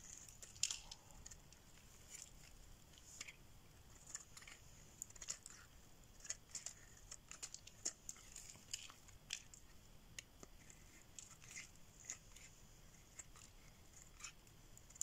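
A solid pink bar of dry soap, held in the hand, is shaved with a metal blade so curls peel off its surface. Quiet, dry, crisp scraping strokes come in quick irregular bursts, bright and hissy with a high whistle-like edge and almost no low end. Each stroke cuts off sharply with no ring.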